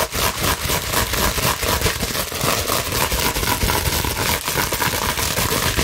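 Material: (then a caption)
Plastic. A clear plastic bubble wrap sheet held in both hands is scratched quickly with long nails over the bubbles. A dense, steady crackling scratch fills the clip, bright and rasping with a low rumble underneath, its strokes coming in quick, uneven bursts about four times a second.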